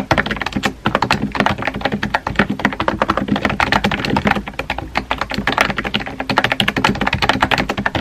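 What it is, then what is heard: Plastic keyboard being typed on. Fingertips with dark-painted nails type rapidly on a compact pink plastic keyboard with round white keycaps, pressing and tapping the keys. The result is a fast, continuous stream of short, dry clicks and clacks with almost no ring, forming a steady mid-pitched clatter.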